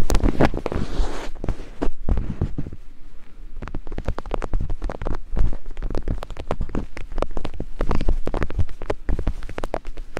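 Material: Silicone.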